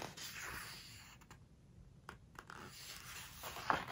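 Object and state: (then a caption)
Glossy paper book pages. Hands turn a page of a glossy-paper book and rub it flat with fingertips and long nails. A soft, airy paper rustle and smooth swishing drag, with a few brief sharp crinkles and a louder squeaky rub near the end. The sound is quiet overall, with a bright hiss.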